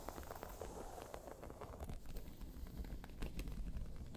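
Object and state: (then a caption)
Croc-embossed faux leather bag. Long pointed nails scratch and tap across a round tan crocodile-embossed faux leather bag. A quiet, continuous rasping texture is dotted with sharp little ticks and taps, with most of the weight in a low, muffled rumble and occasional brighter clicks on top.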